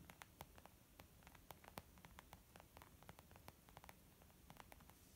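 Long nails and fingertips tap on a small, white, textured leather zip makeup bag lying flat, soft and hollow, with a brief flat-hand press. Quick, irregular, dry clicks with short bright edges sit over a low, steady static-like hiss and faint hum.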